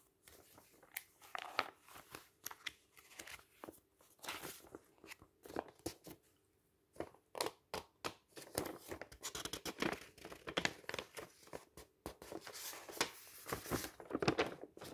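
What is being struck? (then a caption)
Glossy paper catalog pages. Fingers flip and riffle the thin pages of a glossy paper catalog lying open on a table at a cross-country skiing page. The result is a close, dry page-turning rustle of quick crisp swishes and crinkles with bright edges, with a brief quiet pause near the middle.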